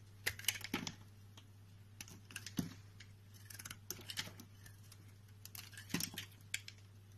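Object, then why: Soap bar scraped with a utility knife blade. A utility knife blade scrapes and carves shavings off a solid, hand-sized white rectangular soap bar held in the palm. Short, crisp, bright scraping strokes come in uneven bursts over a steady low hum.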